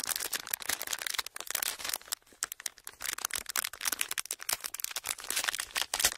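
A pleated clear plastic sheet with hollow folds is squeezed and crinkled with the fingers of both hands. It makes dense, bright crackling and rustling made of rapid sharp snaps with almost no low end, easing briefly around the two-second mark before picking up again.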